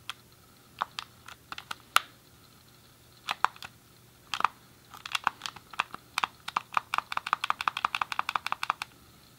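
A grey hollow plastic SNES game controller is held in both hands while the thumbs press and click its D-pad and colored buttons. About 34 short, dry plastic clicks with a bright tone centered near 1.3 kHz come scattered at first, then speed into a rapid run of clicks over the last few seconds.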